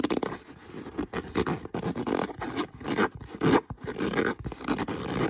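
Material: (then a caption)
Leather. Fingernails scratch the surface of a brown stitched leather boot, producing bursts of dry, raspy scraping with a mid-range body and bright hiss. The strokes come in quick, uneven runs with short pauses between them.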